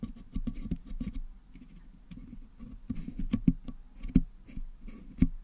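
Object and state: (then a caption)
Putty-packed metal microphone grille picked with wooden toothpicks. Wooden toothpicks held in fingers pick and scratch at colored putty packed into the hollow metal mesh grille of a Blue Yeti USB microphone head. The result is a run of soft, dull, low-pitched taps and scraping patters with no ring, with a few sharper clicks standing out near the end.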